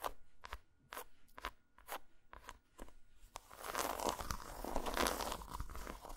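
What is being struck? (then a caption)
Segmented chocolate bar. Long nails tap a solid, segmented dark chocolate bar lying flat on a towel, making a quick series of sharp, bright clicks with short gaps between them. About halfway through, the tapping gives way to fast, continuous scratching across the bar, a dense and crackly rasp that stays fairly loud to the end.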